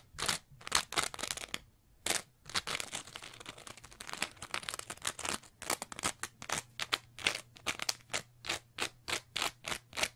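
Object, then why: Layered foam scrub sponge. Long nails scratch a green layered foam scrub sponge, a green textured sponge with a pale foam layer, making dry, bright, rasping strokes. Quick irregular scrapes blur together into a continuous crackle, then settle into a steady run of evenly spaced, sharp scratches that each stop almost at once.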